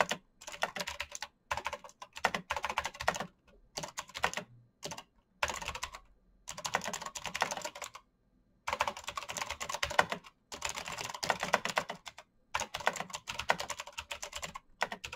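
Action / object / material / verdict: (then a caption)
tap / mechanical keyboard with plastic keycaps / plastic / none. Fingertips type fast on a black backlit mechanical keyboard with plastic keycaps and clicky switches. Bursts of sharp, bright clicks run in quick rapid-fire bunches, separated by short pauses throughout.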